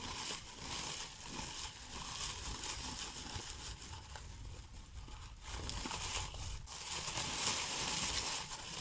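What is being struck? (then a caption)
Artificial plastic pine wreath. Hands with long painted nails rub and rustle the plastic needle branches of a large artificial pine Christmas wreath decorated with a pinecone and red plastic berries. The result is a steady, dense, bright crinkling and scratching rustle that swells and dips slightly throughout.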